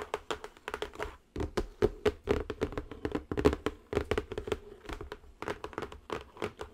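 Long acrylic nails tap the top and edges of a square cardboard zen garden box. The result is a continuous run of quick, dry taps with very short decay and a hollow resonance around 420 Hz.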